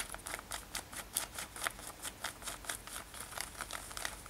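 Long nails scratch a worn light-blue denim lace-up top, soft fabric over the body, on both sides of the lacing. The result is a quiet, steady run of short, bright, rasping strokes with a high, papery hiss and little low end.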